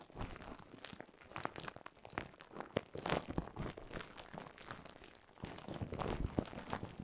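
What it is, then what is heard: Plastic bubble wrap. Clear plastic bubble wrap laid over a microphone is crinkled and squeezed with fingers. It gives a steady, close crinkling and crackling with frequent sharp, bright snaps and crunches that fade almost instantly. The texture grows louder in bursts around the middle and toward the end.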